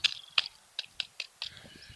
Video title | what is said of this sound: Les célèbres Arbres de Joshua vu de près et en détails - Désert de Californie. | Mais ça sonne creux un peu. Ça sonne un peu creux.